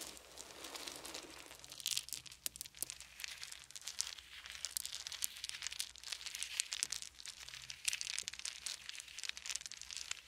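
Fingertips sift through a pile of small round wooden beads, picking up handfuls and dropping them back onto the pile. The result is a steady, quiet stream of dense, bright clicking and rattling, with almost no low end and many short sharp ticks that stop instantly.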